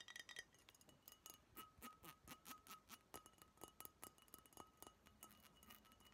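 A Budweiser brown glass beer bottle with a paper label, likely empty, is held in both hands and tapped and clinked with long nails. The result is a quick, uneven run of bright glassy clicks and clinks with a faint high ring around 1.2–1.9 kHz that dies away almost at once.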